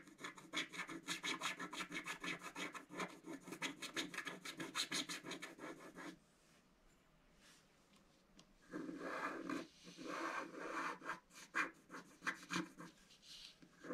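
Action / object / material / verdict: scrape / coated scratch-art card scraped with a wooden stylus / coated paper / none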